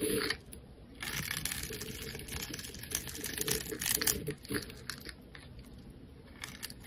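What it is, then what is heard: Bar of soap being shaved. A solid, hand-sized rectangular bar of white soap, held in one hand, is shaved and scraped with a metal utility-knife blade, peeling curls of soap off its surface. The result is a continuous run of dry, crisp scraping and crunching with bright, hissy upper tones and short, quickly fading swells.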